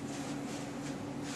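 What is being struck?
Nothing is struck.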